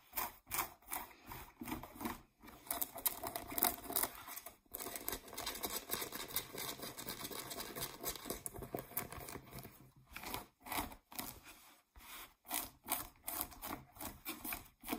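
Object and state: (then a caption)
Denim jeans scratched with nails. Long nails scratch and rub the waistband and pockets of blue denim jeans lying flat. Quick, rough, broadband scratching strokes start and end the clip, with a denser, steadier stretch of rubbing in the middle. The texture stays quiet and dry, with no ring after each stroke.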